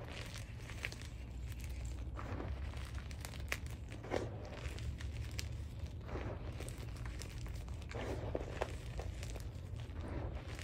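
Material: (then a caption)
Magnesium carbonate. Fingertips and nails dig into and crush a pile of white Spri gym chalk (magnesium carbonate) powder with small lumps in a black dish. Soft, dry crumbling and crunching crackles come in quick bursts over a steady low hum. Each crunch is short and dies away almost at once.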